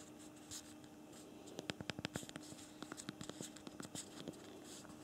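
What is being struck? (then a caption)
Plastic smartphone keyboard keys. Thumbs type on the physical plastic QWERTY keyboard of a BlackBerry Priv smartphone, producing a run of quick, sharp key clicks. The clicks come in a dense burst from about 1.5 to 2.5 seconds, then in sparser taps until near the end, over a faint steady hum.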